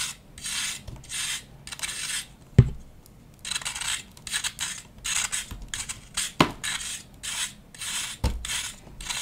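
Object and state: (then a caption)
Compressed baking soda or chalk block being scraped. A solid disc of compressed pale green baking soda and chalk powder, held in the hand, is scraped with a knife blade so the powder crumbles off. Bright, raspy scraping strokes repeat in an uneven rhythm, with a few short, sharp low knocks between them.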